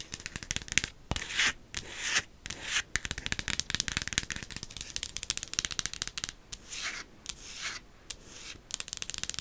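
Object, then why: Silicone ghost-shaped night light. Long acrylic nails tap and scratch a small, soft-looking silicone ghost-shaped night light with a hollow shell while it is held up. Quick, dry clicks and rasping scrapes come in dense bursts with brief pauses, bright and hissy with little low end. Each tap dies away almost at once.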